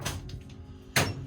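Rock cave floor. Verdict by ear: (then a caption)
Hollow. A foot stomps on the rock floor inside a cave, and the floor sounds hollow. Each stomp lands as a deep, drum-like low thud with a bright scuffing attack and a short resonant ring. A louder stomp comes near the end.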